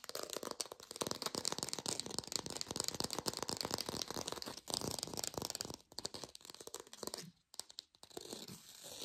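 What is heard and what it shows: A textured artificial plastic orange is fast-tapped and recorded with a lo-fi sound. The rapid fingertip taps form a dense, bright, crackly patter, almost like tearing or crinkling, with very little low end. They thin out near the end, briefly drop away, and trail off into softer tapping.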